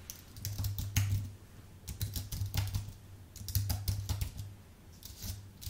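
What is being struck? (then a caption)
Low-profile keyboard with plastic keycaps on an aluminium base. Fingertips type on a white full-size Apple Magic Keyboard with plastic keycaps on an aluminium base, producing bursts of quick, light clicking and tapping. The keystrokes come in clustered runs with brief pauses, each tap short and bright over a steady low hum near 100 Hz.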